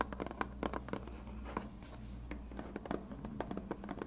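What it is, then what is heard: Plastic glue bottle. Fingertips and nails scratch and tap a hand-sized, hollow white plastic glue bottle with a blue nozzle. Quiet, dry scratching is broken by a string of short, sharp taps that stop almost instantly, over a steady low hum.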